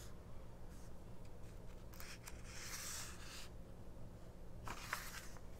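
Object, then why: Small paper booklet with glossy pages. Long nails quickly tap and scratch the right-hand glossy printed ad page of a small open 1999 paperback mini-book resting on a fabric cloth, staying on the same spread throughout. Soft, bright, papery scratches and crisp little taps come in bursts over a steady low hum, growing busier in the middle and again near the end.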